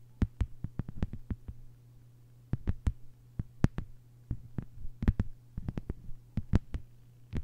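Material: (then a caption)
Plastic. Long white-polished nails on both hands tap a thin, solid, flat lime-green plastic cutting mat lying on a table. Short, sharp clicks with bright tops come in quick irregular bursts separated by brief pauses, over a steady low hum. Each tap dies away almost instantly.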